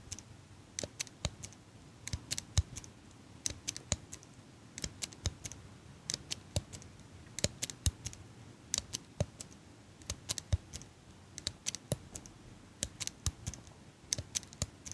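A small handheld metal eyelash curler is held in front of the microphone and worked with fingers and long pink nails so its metal parts click. The clicks are short, sharp and bright, arriving in irregular clusters over a low, quiet background hum throughout the clip.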